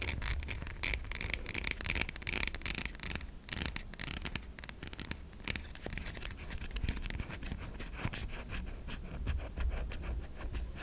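Long nails scratch across the face and stamped logo of a white solid stamped bar of soap. The result is a steady run of dry, bright scraping strokes over a low background rumble.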